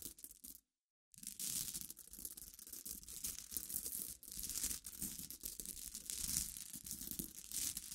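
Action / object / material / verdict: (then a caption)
scrape / pile of glass pebbles / glass / none. Long nails scratch and stir through a dense pile of clear glass gems resting on black fabric, giving a bright, continuous clinking, gritty rustle. After a brief silence near the start, the stirring resumes and keeps going with shifting intensity, the sound staying mostly high with little low end.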